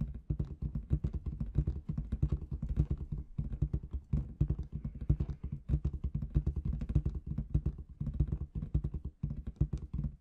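Long red nails tap rapidly on a large inflated clear latex balloon with confetti inside, making a steady stream of soft, dull thumps. Each tap is short with almost no ring, and the sound sits in a deep, boomy low range around 66 Hz, with only faint brighter clicks on top.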